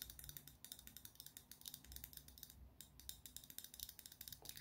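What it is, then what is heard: Glass foundation bottle. Fingernails tap a small, full glass liquid foundation bottle with a black plastic cap and gold band, held in one hand. The result is a quick, steady run of light, bright clicks, with a brief pause just before the three-second mark.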